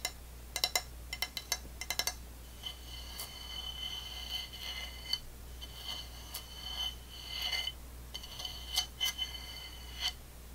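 Long nails tap and scratch the unglazed foot ring and underside of an empty dark blue ceramic plate held tilted upside down. Quick clusters of sharp, bright clicks alternate with longer scraping stretches that bring out a thin, high ringing tone. A faint, steady low hum sits underneath throughout.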